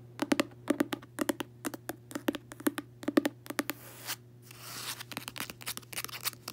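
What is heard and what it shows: Long nails and fingertips tap and scratch the cover of a closed, solid, medium-size red cloth-covered hardcover book with a gold emblem, lying on a bedsheet. Quick, dry clicking taps come in clustered bursts, broken by two longer, soft, hissing scratches across the cloth. The taps then resume.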